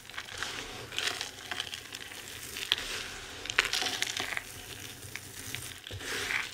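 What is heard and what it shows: Bare hands with long red nails gather up a pile of dry crumbled bar soap chunks and shavings in white, green and pink, crush it between the palms and let the pieces fall. The result is a steady, bright, dry crunching and crumbling, dotted with sharp, short crackles and clicks that stand out at a few moments.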